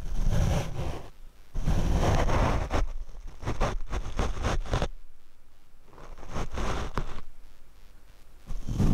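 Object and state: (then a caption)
Foam microphone windscreen being brushed. A paint brush is swept across the black foam windscreen of a Rode microphone. The strokes come out as heavy, low, rumbling swishes and scratchy bursts that swell and fade irregularly, with quieter gaps between them.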